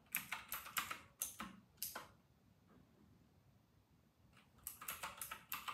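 Fingertips of both hands type on a full-size white RK960 mechanical keyboard with round typewriter-style plastic keycaps, resting on a white desk. Quick, bright plastic clicks come in a burst, pause for about two seconds of near silence, then start again. Each keystroke is short and crisp, with little low end or ring.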